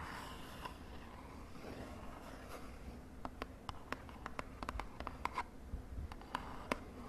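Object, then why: Small cardboard box. Long dark nails scratch and then tap the sides of a small, hollow, purple printed cardboard lip gloss box held in hand over a bedsheet. Soft, steady scratching fills the first three seconds, then about sixteen quick, dry, clicky taps follow, each dying away almost at once. The result is quiet and papery, with bright tap edges over a low rustle.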